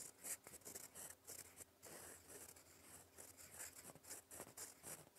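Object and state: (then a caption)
Paper sheet written on with a fountain pen. A gold fountain pen nib writes in black ink on a flat sheet of lined cream paper, its tip scratching across the surface in cursive strokes. The sound is a quiet, bright, papery scratching in short, quick bursts with brief pauses between strokes.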